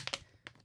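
A very soft plastic water bottle of cheap Mirabel water from Quebec is handled and squeezed, giving short, bright crinkles and crackles that fade quickly. The sound marks it as cheap, basic plastic.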